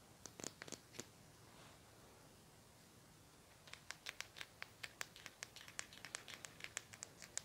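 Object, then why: Plastic highlighter pen. A small, hollow lilac plastic highlighter with a black cap, held in one hand, is scratched with fingernails. A brief cluster of sharp, bright scratching clicks is followed by a quiet pause, then a quicker, steady run of crisp, dry scratches with almost no ring.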